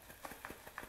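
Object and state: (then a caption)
Cardboard figure box with paper-wrapped contents. A windowless, plastic-free cardboard box holding a Hasbro Thor: Love and Thunder 6-inch Deluxe action figure is shaken, giving quick, soft papery rustles and light muffled thumps with bright edges. The sound confirms the figure is wrapped in tissue paper inside rather than held in a plastic clamshell.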